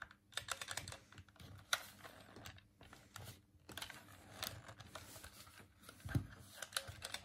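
A hollow white plastic Dreamcast controller is held in both hands while the thumbs press its buttons and tap the plastic shell. The result is a quiet, irregular run of short, dry clicks and taps with a bright edge and a hollow low knock underneath, each dying away almost instantly.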